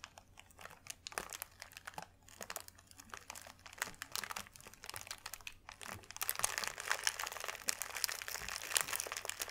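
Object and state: Thin paper sheet being crumpled.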